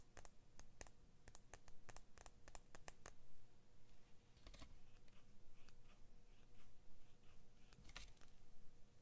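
Fingernails tap and scratch along the thin steel blade of small orange-blue handled scissors. Crisp, bright ticks come in a quick run over the first few seconds, then give way to softer scraping strokes with occasional sharper taps, all over a steady low hum.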